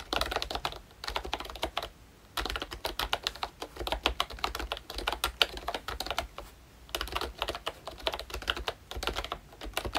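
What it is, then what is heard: Plastic membrane keyboard being typed on. Fingertips type on a full-size ROYCHE Disney Mickey Mouse retro membrane keyboard, with a pink plastic hollow-bodied case and round black plastic keycaps. Quick runs of bright, hollow plastic clacks come in bursts, with brief pauses near two and seven seconds. Each keystroke is short, with almost no ring.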